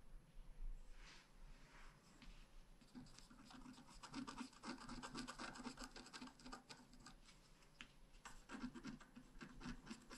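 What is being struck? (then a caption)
Wax-coated scratch art paper card and wooden stylus. A wooden stylus scratches lines into the coating of a thin, flat, black wax-coated scratch art board in a book lying on a table. Quiet, dry, raspy scratching strokes come in quick bursts, some short and some drawn out, over a faint low hum. The lines are etched into the board with brief pauses between runs of strokes.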